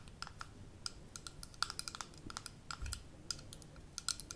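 Long nails tap quickly on a small amber glass jar with a gold metal lid, first while it is held in the hands and then while it stands on a table. The taps are short, sharp clicks with a bright ring around 1.4 kHz and high sparkle. They die away almost instantly over a quiet low hum, with a soft low thump in the middle.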